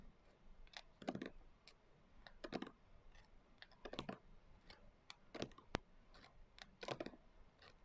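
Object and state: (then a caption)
Glitter-covered hardcover journal. Long acrylic nail tips tap quickly on the coarse glitter cover of a closed hardcover journal. The sound is quiet, gritty clicking in short uneven bursts with faint scratchy texture, plus one sharp, bright click near the end.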